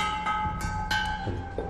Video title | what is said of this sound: 《乡土》手艺中国·陶瓷微书 20190415 - CCTV农业 | 你看这个声音很脆，这个就有一句话就声如磬